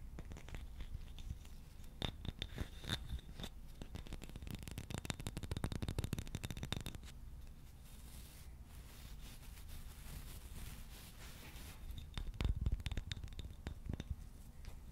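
A wooden shoe brush with a solid wooden back and bristles has its wood tapped and rubbed with fingertips. Quick, dry taps and scratchy rubbing come in dense bursts, busiest in the middle and again near the end, with softer rubbing between over a low, steady hum and a faint high tone. Each tap is short and dies away almost at once.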